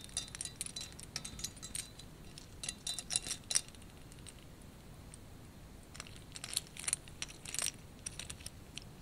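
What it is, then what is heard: Ceramic ice skate ornament. Fingernails tap and scratch a small white painted ceramic ice skate ornament with red beads and a dark blade. The result is quick, bright, dry clicks and ticks that die away almost instantly. They come in two busy clusters over a faint low hum.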